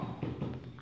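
A hollow section of concrete subfloor screed is tapped three times, giving short, dull, low thuds with a hollow tone. The spot sounds hollow, a defect, and this section is later cut out and removed.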